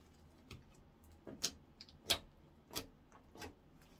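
Fingertips squeeze, fold and poke a palm-sized blob of soft, solid, translucent orange clear slime resting on a wooden counter. Quiet, sharp, bright clicks and wet pops sound at irregular intervals, each dying away almost instantly over a faint low background.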